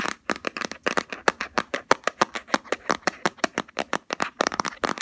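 Fingernails tap and scratch the lid and rim of a round plastic Body Shop Hemp jar with a black body and green label. About 29 quick, dry plastic clicks come in a rapid, uneven run, each one short and bright with almost no low end, and scratchy rasps fill the gaps between them.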